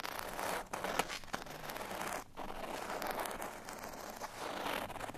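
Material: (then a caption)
Cardstock. A folded cardstock bottle tag lies flat on a surface and is scratched with the fingernails of both index fingers. The result is a steady, dry, papery scratching and rustling with a bright hiss, broken by brief pauses.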